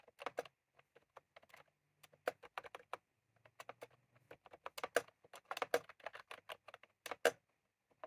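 Fingertips of both hands type on a white/cream plastic retro computer keyboard with round typewriter-style keycaps, resting on a desk. Quick, irregular bursts of short, bright clicks and clacks come in uneven runs with brief pauses, each press dying away almost instantly, over a faint low hum.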